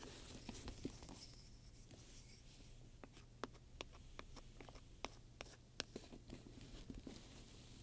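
A wooden pointer scratches and taps across a large black pebbled-leather handbag covered in domed metal studs, which lies flat, soft and hollow, while the other hand steadies it. Quiet scratchy rubbing is broken by sharp, bright clicks as the pointer strikes the studs, over a steady low hum.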